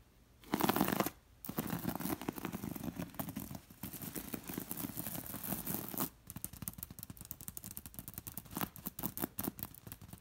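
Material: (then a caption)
Linen, beads. Fingertips and long nails scratch quickly over the seed-bead pattern of a soft, filled beige linen throw pillow. A loud rough burst comes first, then a steady dense scratching with a low hum beneath it. This gives way to quieter, choppier flurries of scratches.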